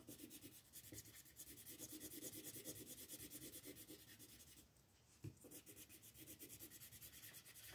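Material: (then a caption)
Paper. A green wooden colored pencil is rubbed across a paper coloring book page resting on a table while coloring the grass, using fast back-and-forth strokes. The result is a steady, bright, scratchy rubbing with a rapid pulsing rhythm. Near the middle it briefly drops to a softer hiss, a short low knock follows, and then the quick strokes resume.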